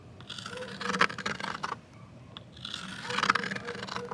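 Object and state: Plastic box lid scraped with a twig.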